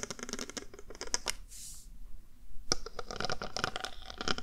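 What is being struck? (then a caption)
Small square panel covered in plastic heart rhinestones. A small handheld square panel, possibly a box or compact, covered in multicolored plastic heart-shaped rhinestones, is tapped and scratched across the gems with the tip of a glittery mermaid-tail pen. Quick, bright clicks and scraping ticks come in clustered bursts, with a short quiet gap near the middle.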